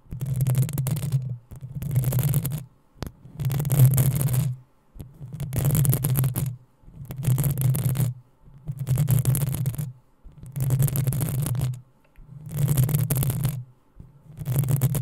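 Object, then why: Metal mesh microphone grille. Long acrylic nails of both hands scratch the hollow, rounded metal mesh grille of a black USB condenser microphone. Nine separate bursts of scratching sound as deep, muffled rumbles around 100–200 Hz with a bright, airy hiss on top, each lasting about a second or more. Short silences fall between them in a loose, uneven rhythm.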